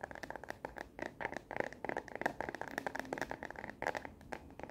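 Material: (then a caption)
Plastic. Long natural nails rapidly tap and scratch the back of a solid, hand-sized smartphone held upright in a frosted translucent hard plastic case with black rubbery edges and a star and planet print. The result is a fast, uneven stream of dry plastic clicks and scratchy scrapes, centred in the midrange with a bright edge. Each hit dies away almost instantly, leaving no ring.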